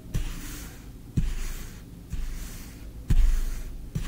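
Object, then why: Kinetic sand scraped with a wooden spoon. A small wooden spoon is dragged across green kinetic sand in a tray, scraping its surface in repeated strokes. Each stroke starts with a soft, low thud and trails into a muffled, grainy scrape before the next one begins.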